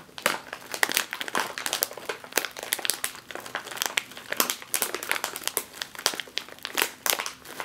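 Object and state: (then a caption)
Plastic chip bag. Fingertips and long nails press and crinkle a full, sealed, foil-lined plastic chip bag resting on a table, flipping it over partway through. The sound is a dense run of sharp, bright crinkles and crackles with almost no low end. Each crinkle stops almost instantly, with short quiet gaps between bursts.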